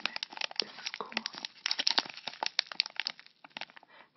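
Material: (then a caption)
Foil plastic. A flat, sealed white foil-laminated plastic sachet of Keratin Gloves is held between both hands and crinkled, rubbed and turned with the fingers. The result is a dense run of bright, crisp crinkles and sharp little snaps with almost no low end, easing into quieter rustles near the end.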